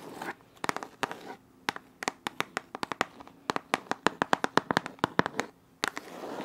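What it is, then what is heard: Cardboard box tapped with nails. Long nails tap and scratch the faces of a printed white cardboard shot-glass box, giving quick, dry, bright clicks in uneven bursts with faint scraping between them. The taps are sharp and die away at once, with a light papery crackle and a soft hiss underneath.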